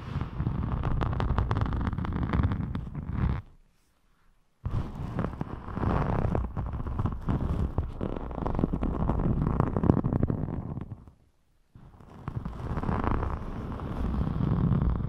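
A thin, flexible rainbow glitter foam craft sheet is held up and scratched with fingertips and long nails, making dense, crackly, rustling scratches with a heavy low-end rumble. The scratching comes in three sustained stretches, separated by two brief silences.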